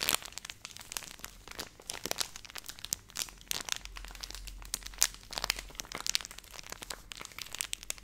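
A hand-sized Nestle Everyday milk powder pouch of flexible laminated plastic, which appears filled, is crinkled and squeezed with long painted nails and fingertips close to the mic. It makes a steady run of quiet, bright, crackly crinkles with sharp little snaps and almost no low end.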